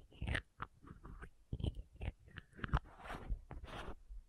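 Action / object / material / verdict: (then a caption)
tap / small plastic contact lens case with screw caps / plastic / none. Long nails tap and scratch the green and white screw caps of a small, hollow plastic contact lens case and twist its lids. The result is a quiet, uneven series of short, dry clicks and crunchy scrapes that stop dead with no ring, with brief bright ticks over a soft low thud.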